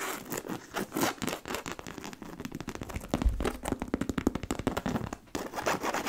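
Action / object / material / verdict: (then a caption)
scrape / coated canvas handbag / coated canvas / none. Long nails scratch the side panel and front of a black, medium-sized, hollow monogram coated-canvas handbag. The result is a steady run of quick, dry scrapes and crackly scratches with a low hollow body.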